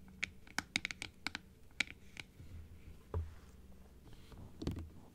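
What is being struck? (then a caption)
Plastic dental teeth model. Long acrylic nails tap and scratch on a hollow blue plastic dental teeth model, first half-open and then open, hitting both the plastic and the teeth. Sharp, dry clicks with bright ticks ring out against a quiet low background. Softer scraping passages sit between the taps.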